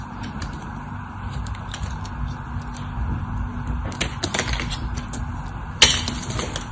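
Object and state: Dry bar soap.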